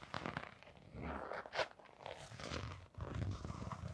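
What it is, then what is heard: Canvas sneaker with rubber sole. A blue glitter fabric canvas sneaker with a rubber sole is turned in the hands while long nails scratch the sole and the side. The result is a steady run of dry, crunchy scraping and rasping with a low rumble of handling underneath, plus a brief bright swish near the middle.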